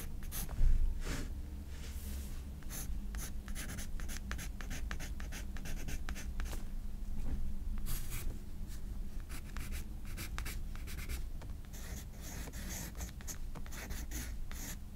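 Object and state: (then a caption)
Paper sketchbook page under pencil. A graphite pencil draws strokes across the paper of a spiral-bound sketchbook lying flat. Short, bright, scratchy bursts of pencil on paper repeat throughout over a steady low hum, with the loudest stroke near the start.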